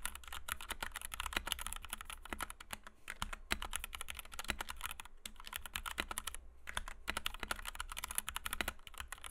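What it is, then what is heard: Plastic mechanical keyboard with PBT keycaps. Both hands' fingertips type rapidly on a compact white 60% Kemove DK61 mechanical keyboard with Gateron Red switches, PBT doubleshot keycaps and a plastic case, resting on a desk mat. A steady stream of short, bright clacks and taps continues throughout with only brief pauses, over a faint low hum.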